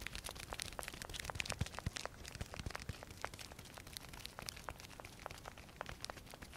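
Fingers peel and press the velcro flap of a small, hollow black nylon pouch and scratch its fabric. The result is a steady run of quick, dry velcro tearing and crinkling crackles with bright, sharp edges over a soft low rustle.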